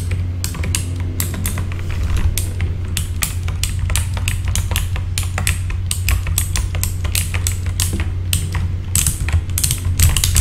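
Fingertips of both hands with short red-painted nails type steadily on a full-size backlit mechanical keyboard with plastic keycaps. Rapid, crisp clacks with a bright click on top follow one another over a constant low hum.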